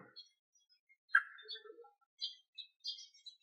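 Several short, dry knocks land on the solid steel pipe chassis frame tube of a 2023 TVS Ronin 225 motorcycle. Each gives a brief mid-pitched tap centered near 1.6 kHz with a bright edge and almost no ring. The frame sounds very solid rather than flimsy.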